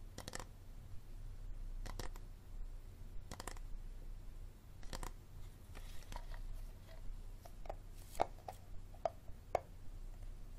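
A hard plastic water bottle is tapped and scratched slowly, with no talking, giving short, dry clicks and taps with a hollow mid-pitched tone over a steady low hum. The sharpest, loudest taps come near the end.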